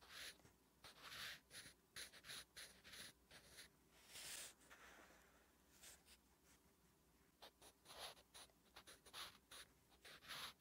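A wooden graphite pencil writes Korean letters on a flat, solid lined paper notebook page, making quiet, bright scratching strokes. The strokes come in many short, separate bursts with brief pauses between them, plus one longer sweeping stroke near the middle.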